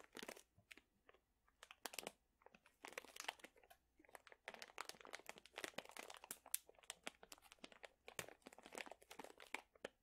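A sealed plastic pouch full of dried chili peppers is squeezed and crunched with the fingertips of both hands. It makes a quiet, dense run of bright, crisp crinkles and brittle crunches in quick bursts with no ring, filling the whole clip.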